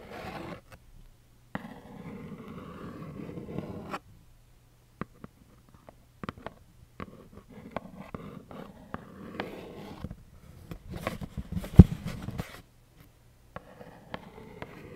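A small, hollow pastel plaid cardboard tissue box with a tissue sticking out is held in the hand and tapped and scratched with long acrylic nails. Soft, papery scratching runs in stretches between sharp, dry taps that die away almost instantly. The sound is quiet and low, with a hollow cardboard thud.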